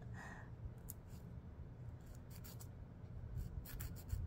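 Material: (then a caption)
Emery. A fingernail is filed across the abrasive side of a long, solid emery board nail file held in the hand. Short, bright scratching strokes come in quick bursts over a steady low rumble, with a brief higher rasp near the start.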